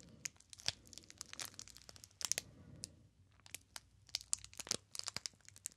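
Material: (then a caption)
Cellophane. A small, solid rectangular bar of soap in a clear, crinkly plastic wrapper with a printed paper label is held in both hands while fingertips squeeze and rub the wrapper. The result is a quiet, steady stream of bright, crisp crackles and sharp snapping clicks that die away instantly, with almost no low end.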